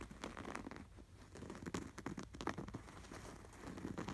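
Fingertips scratch and tap quickly across the textured embroidery of a cream canvas throw pillow with a red appliqué sweater, a soft stuffed cushion. The result is a quiet, continuous run of dry, crinkly scratching broken by short, muffled taps, with most of the sound in the low and middle range and little brightness.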